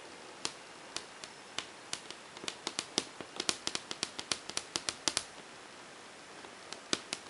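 Long painted fingernails, on a hand wearing rings, tap rapidly on a large, flat, glossy whiteboard near its bottom frame edge. About 29 sharp, bright clicks sound in an uneven rhythm, with almost no low end and each click dying away almost instantly. The taps cluster densely in the middle, pause briefly, then return as a few final taps over a quiet background hiss.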